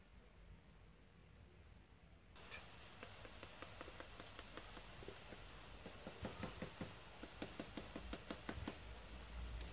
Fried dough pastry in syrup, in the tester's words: صوت القرمشة. سمعتوا ما شاء الله مقرمشة جدا ومفرغة من جوه